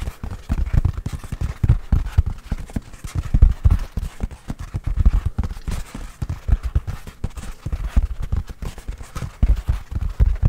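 A full roll of white toilet paper on a hollow cardboard core is held in one hand and tapped rhythmically on its outer surface with the fingertips and nails. The hits come in rapid, uneven clusters of soft, dull, low thumps, like clip-clopping hooves, each dying away at once.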